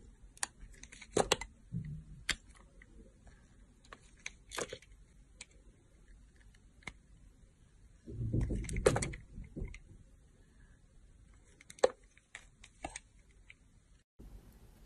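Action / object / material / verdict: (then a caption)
scrape / glycerin soap bar shaved with a knife blade / glycerin soap / none. A utility knife blade shaves thin slices from the surface of a solid, oval, translucent green glycerin soap bar held in a hand with long nails. Sharp, crisp scraping clicks come in scattered bursts with bright edges, and a louder, muffled rustling swell arrives near the middle.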